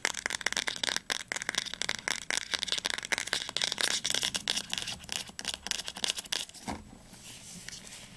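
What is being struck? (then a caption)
Paperback book cover and spine. Fingernails rapidly tap and scratch along the spine and cover edge of a teal paperback book, making a dense run of crisp, bright, dry clicks with almost no low end. Near the end the tapping gives way to a softer, quieter scratching.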